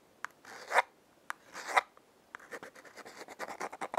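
Long painted fingernails scratch and rub the striking side and faces of a small, hollow, yellow printed cardboard Lion-brand matchbox held in one hand. Two sharp taps each lead into a swelling, dry rasp, and then a quicker run of short scratching strokes follows. The sound is papery and mid-range, with almost no low end and no ring after each stroke.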